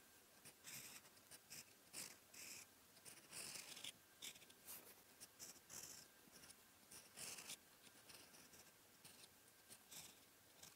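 A steel fountain pen nib, held in the fingertips, scratches across a flat white lined paper sheet in short writing strokes. The sound is a quiet, bright, dry scratching that comes in brief bursts with almost no low end and no ring between strokes.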